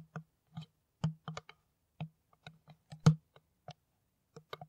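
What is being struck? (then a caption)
Empty plastic PET bottle. An empty, hollow, clear plastic PET water bottle, held cap-end forward, is tapped with long nails in a loose, irregular series of taps. Each tap gives a short, hollow, low thump with a faint bright click on top, ringing only briefly before fading. A few taps land close together and some are louder than others.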